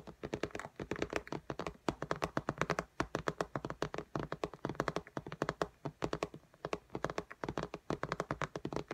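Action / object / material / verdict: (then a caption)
tap / glass tablet screen / glass / none. Long nails tap and scratch quickly across the glass screen of an iPad lying flat in a pink case. The result is a rapid, steady stream of short, dry clicks and thunks with brief scratchy strokes, each one dying away almost instantly.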